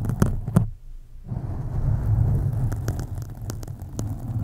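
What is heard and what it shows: Long acrylic nails of both hands scratch a black foam windscreen on a USB mic, producing a deep, muffled rumbling scrape with a low hum-like throb. A few sharp clicks stand out early; then the sound drops to near silence for a moment before the dense, low scratching resumes and continues steadily with occasional bright ticks.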